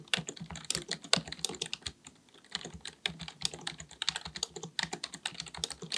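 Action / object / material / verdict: tap / plastic computer keyboard / plastic / none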